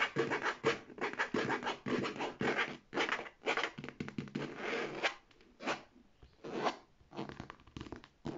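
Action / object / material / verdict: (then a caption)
scrape / faux leather handbag with metal hardware / faux leather / none. Long painted nails scratch the leather front and gold metal plates of a medium, structured, hollow beige faux leather handbag. Quick, irregular bursts of dry, bright scratching come in rapid runs with short pauses between them. Each burst fades almost immediately.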